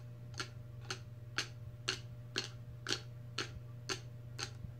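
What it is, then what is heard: Plastic lid of a steel tumbler. Long red nails tap on the clear plastic lid of a large stainless steel tumbler, making nine sharp, bright clicks spaced about half a second apart. The clicks are short and dry, with a steady low hum underneath.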